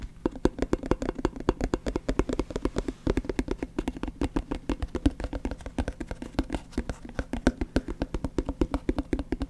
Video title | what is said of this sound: Satisfying Lid Sounds ASMR Tingle, Relax, Sleep, Study, Enjoy | This is a plastic container with a plastic lid. That really makes quite a sound.